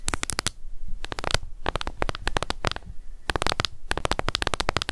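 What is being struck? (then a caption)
Plastic cushion foundation compact. Long nails tap quickly on the lid of a closed, small, hollow pink plastic cushion foundation compact. The tapping comes as dense bursts of sharp, bright clicks with a low hollow knock, separated by a few brief pauses.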